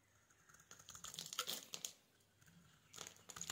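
A metal utility knife blade scrapes and cuts small cubes off the edge of a solid, hand-sized green oval soap bar, pre-scored into a fine grid and held in one hand, and the bits fall onto a wooden surface. Quiet, bright crisp crunching and scraping comes in rapid, irregular bursts, with a busy stretch in the middle, a short lull, and more cutting at the end. Each crackle dies away almost instantly, with very little low end.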